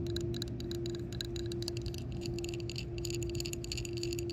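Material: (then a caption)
Hard plastic. Long fingernails and fingertips tap and scratch the embossed center of a round, hand-sized, solid yellow hard-plastic shuffleboard puck (Fri-Glide disc) lying on a rough concrete court. Quick, bright clicks and scrapes run continuously over a steady midrange hum and a low background rumble.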